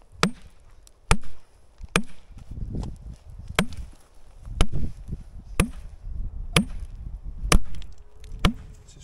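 Nine sharp knocks, each with a quick low thump; the glued object answers hollow.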